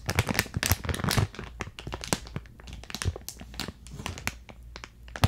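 Long decorated nails and fingertips crinkle and scratch a clear plastic retail bag with a printed card header, filled with purple granular contents and held close to the mic. A dense run of crisp, crackling crinkles and scratchy taps with bright edges sits over a low, muffled rumble, each crackle cutting off almost instantly.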